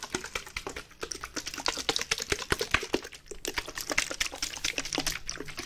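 A white plastic bottle, partly filled with water, is shaken and tapped with fingernails. The result is a quick, uneven run of sharp, bright clicks and taps that die away almost instantly, mixed with a light watery slosh.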